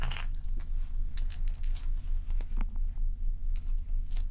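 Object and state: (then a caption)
Large ice block. Long nails tap and scratch the sides and top of a large, solid, dome-shaped ice block resting on a towel. Short, bright clicks and crackly scrapes come in a steady, uneven rhythm over a constant low hum.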